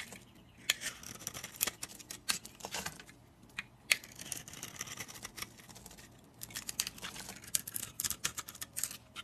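A utility blade scrapes and shaves flakes off a solid, dry oval bar of teal-and-orange soap held in the hand. Dense, crisp, bright scratching and clicking comes in bursts of quick strokes, with brief quiet pauses between them and almost no low end.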